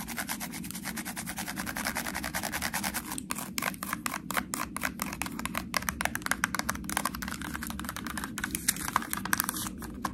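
Long nails rapidly scratch and tap the ridged sides of a small ribbed white plastic sauce cup, sealed with a foil lid. A dense stream of crisp, bright clicks and raspy scrapes plays over a steady low hum. Sharper, louder taps stand out in the second half.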